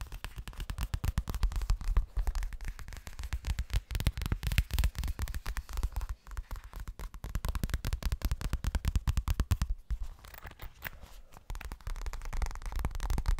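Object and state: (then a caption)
Toilet bag. Fast, continuous tapping on a pink leopard-pattern toilet bag produces a dense run of short, dull, low thuds with almost no ring, varying in loudness throughout and with no talking.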